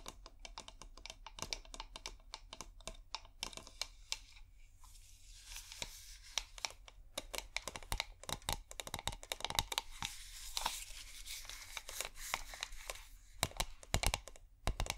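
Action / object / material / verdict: tap / small corked glass bottle / glass / none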